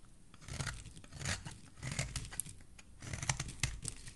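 A metal blade scrapes the edge of a solid oval green soap bar, peeling it into shavings. Quiet, dry crinkling and crunchy scraping come in short bursts, with a bright, crisp texture over a soft low rumble, and each stroke stops without ringing.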